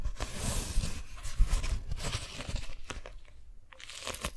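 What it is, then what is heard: Beeswax-coated cotton food wrap. A strawberry-print beeswax-coated cotton food wrap is folded in the hands while long nails grip and crinkle the waxed fabric sheet. Irregular bright crackles and crunchy, tearing-like crinkles come over a soft, low handling rumble, easing briefly near the end before picking up again.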